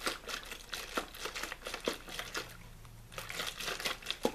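Fingers squeeze and crinkle a small, hollow, mostly empty clear plastic water bottle with a blue label. The result is a steady run of bright, dry crackles and sharp plastic pops that rise and fall in bursts, with a faint low hum during a quieter stretch in the middle.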